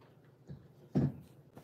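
A few taps on a ceramic bowl that was not cracked when bought give dull, low, dead thuds with almost no ring and no bright tone, the middle tap loudest. The flat, short sound reveals a crack, so the bowl is judged likely to break if shipped.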